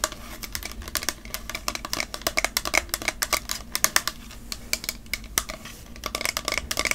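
Long nails tap rapidly on a tall, partly full plastic fragrance mist bottle with a glitter print and a maroon label. Each tap is a quick, bright click with almost no ring, centered around 1.2 kHz, over a quiet low hum.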